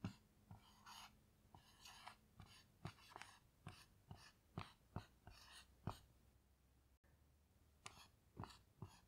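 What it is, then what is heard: Marker writing on a small melamine whiteboard. A black dry-erase marker writes and glides across a small melamine lap whiteboard with a white surface and grey plastic frame, which lies flat on a table while the other hand rests on it. Quiet, breathy squeaks and scratchy strokes come in short bursts, marked by sharp little taps as the tip touches down. A low hum runs beneath.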